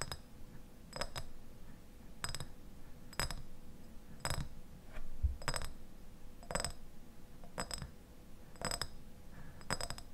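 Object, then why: Glass jar with plastic lid. A medium clear glass jar with a white lid, partly filled with pale contents, is held in both hands while fingertips and nails tap and scratch its glass sides. Short, bright clinks repeat at a steady pace over a low, soft rumble, each dying away almost at once.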